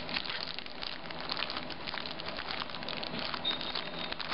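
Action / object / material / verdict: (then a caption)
scrape / sticker sheet in a thin plastic sleeve / plastic / none. Long nails scratch and tap the clear plastic sleeve of a flat sheet of 3D candy stickers with a paper heart note, held upright in both hands. The result is a steady, dense, bright crinkling and scratching, dotted with quick, light taps.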